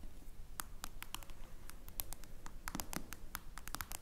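Long blue nails rapidly tap and scratch a smartphone with a glass screen in a clear plastic case, lying flat. The result is a quiet, irregular patter of short, dry, bright clicks with scratchy bits over a low, murmuring background.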